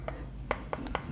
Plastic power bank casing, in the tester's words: kayak nyetok batu gitu keras banget gitu Nah Enggak ada bunyian oplok oplok gitu